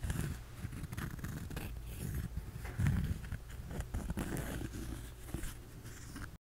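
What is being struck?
Cork coaster.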